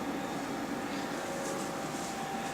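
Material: Nothing is struck.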